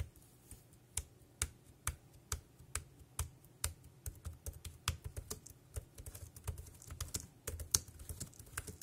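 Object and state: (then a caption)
Plastic computer keyboard being typed on. A dark grey compact plastic wireless keyboard resting on a plastic sheet is tapped with fingertips, producing sharp, bright plastic key clicks. The taps start out evenly spaced, then turn into faster, denser typing over a low, steady background hum.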